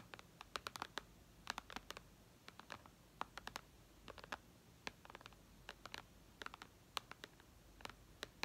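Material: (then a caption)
Glass. Long red nails tap and scratch the glass screen and upper edge of a white iPad resting on lace. The result is a quiet, irregular stream of short, bright clicks and ticks with no ring, over a faint low hiss.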